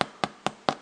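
A soda bread loaf is tapped four times, giving short, hollow knocks that die away almost at once. The hollow sound shows the bread is baked through after an extra five minutes in the oven.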